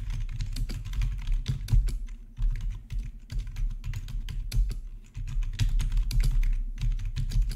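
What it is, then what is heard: Plastic membrane keyboard. Fingertips type steadily on a black plastic RGB backlit membrane keyboard with a hollow body. The result is a rapid run of short, soft tapping clicks over a low, muffled thump from the keys.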